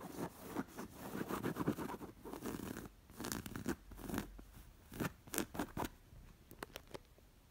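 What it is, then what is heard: Embroidered linen pillow. Long nails scratch the stitching of a square, coral, stuffed linen cushion with embroidery. Soft, dry rasping strokes come in rapid bursts with a low-mid body, thinning later into sparser, crisp scratches and faint ticks against a quiet background.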